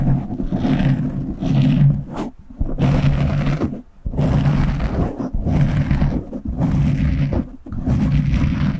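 Fingertips and short nails scratch the top and sides of a black foam windscreen on a microphone, producing a dense, low, rumbling scratch. The sound comes in long bursts broken by brief quiet gaps, with most of its energy at low frequencies and little high-end hiss.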